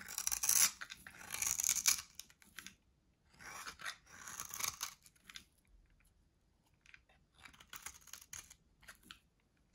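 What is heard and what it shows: A solid, dry white soap bar held in the hand is shaved and carved with a metal box-cutter blade. Bursts of bright, crunchy scraping come in irregular strokes with short pauses between them. The sound sits almost entirely in the high range and has no low end.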